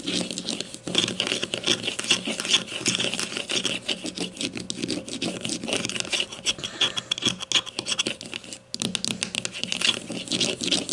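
Long matte nails scratch and tap quickly on a grey plastic deodorant stick lying on its side on a table, held by one hand. The result is a dense, continuous stream of bright, crisp clicks and scratchy rasps with a tone around 3.4 kHz, briefly stopping near the 8.7-second mark before carrying on.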